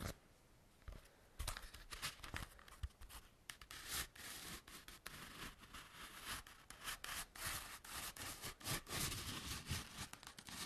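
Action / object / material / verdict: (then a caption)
scrape / textured foam roller / foam / none. A large hollow cylindrical foam roller with a black and pink textured hexagon surface is held in both hands and scratched and rubbed with fingernails and fingertips. Dry, bright rasping strokes come in quick, irregular bursts, with occasional soft low thumps from the hollow body. The scratching grows busier and steadier toward the end.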